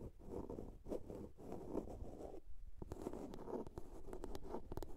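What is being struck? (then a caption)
Small plastic soap case. Long nails scratch along the sides of a small, hollow blue plastic soap case, making dry, rasping strokes with a hollow, low-mid body. After a brief pause midway, the scratching returns in quicker, sharper strokes.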